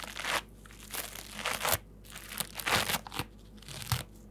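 A new, dry, rectangular multi-layer foam bath sponge with red, yellow, white and green layers, soft and porous, is held in both hands and squeezed and scratched with fingertips and dark-painted nails. Irregular bursts of crunchy, bright crinkling rise and fall over a faint steady low hum.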